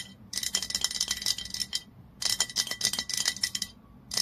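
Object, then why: Glass bottle with paper label. Long nails rapidly tap and scratch the body and paper label of a dark glass Basso olive oil bottle lying on its side. Bursts of quick, bright, clicky taps with a scratchy hiss come in three runs separated by short pauses. Each tap dies away almost at once.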